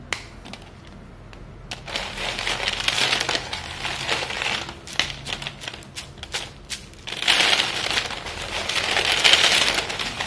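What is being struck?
White chalk pieces on foil plate.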